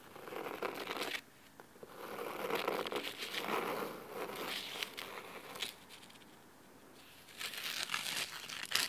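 Fingernails on both hands scratch the fabric cover of a thick, navy cloth-covered hardcover book resting on a wooden table. Dry, crisp, bright scratching comes in uneven bursts, separated by brief quiet pauses.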